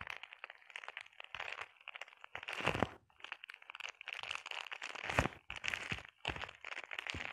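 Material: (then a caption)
Plastic. Long painted nails scratch and tap across a flat sheet of clear plastic bubble wrap. The result is a quiet, crinkly, crunchy stream of bright scratches and quick taps in short bursts, with a few louder cracks standing out.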